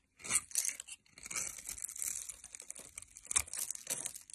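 A metal blade cuts through a hand-held solid orange soap bar with an embossed logo, scored in a grid, releasing small soap cubes. The cutting makes crisp, bright crunching and tearing sounds in quick bursts, with little low end and louder crunches near the start and toward the end.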